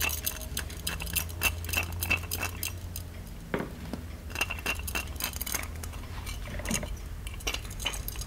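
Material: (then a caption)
Metal. A small, ornate, hollow gold-plated metal genie lamp is held in both hands while fingertips and nails tap and scratch its embossed body. The result is a quick, irregular patter of light metallic clicks and taps, each with a brief ring near 2.7 kHz, mixed with bright scratching over a steady low hum.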